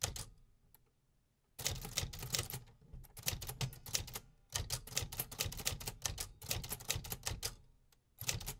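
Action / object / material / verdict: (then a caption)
strike / metal manual typewriter keys / metal / none. Fingertips type steadily on the metal keys of a vintage 1950s manual typewriter, producing rapid, sharp mechanical clacks with a bright, crisp top and a low thump beneath each strike. The typing comes in bursts separated by brief quiet pauses, with each strike dying away almost instantly.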